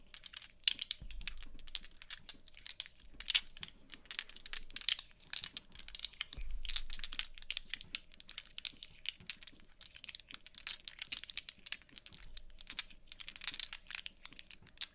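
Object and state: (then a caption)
Plastic gaming dice. A handful of small solid plastic/resin polyhedral gaming dice are shaken in cupped hands with long painted nails, while three more dice sit still on a dark cloth mat. The dice rattle against each other in dense, bright, dry clicks and ticks that come in uneven bursts throughout, with only a faint low rumble underneath.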